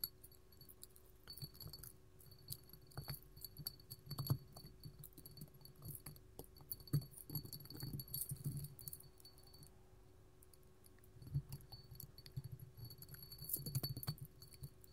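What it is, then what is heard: Glass candle holder. A small, hollow, empty clear hobnail glass candle holder standing on a table is tapped and scratched with gold metal filigree claws worn on both hands. Quiet, dense clicks and light taps mix with scratchy rasps, coming in irregular clusters with brief pauses. A faint steady hum and a high whine sit underneath.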